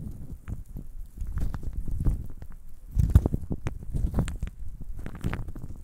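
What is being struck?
Handful of small wooden cubes.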